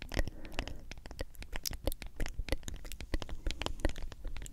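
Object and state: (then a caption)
Plastic powder tub tapped and scratched with nails. Long acrylic nails tap and scratch across the printed label and white plastic lid of a medium hollow plastic G Fuel powder tub, likely partly full of powder. The result is a quiet, rapid patter of dry clicking taps with hollow low thuds, mixed with brief scratchy rasps. Each tap is short and dies away almost at once.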